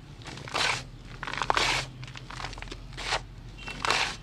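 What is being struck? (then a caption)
Block of gym chalk. A bare hand presses, rubs and crumbles the dusty surface of a large, solid gray gym chalk block with the fingers and palm, shedding loose powder. Dry, bright, crunchy crinkling rises and falls in four louder bursts between quieter gritty scraping, over a faint low hum.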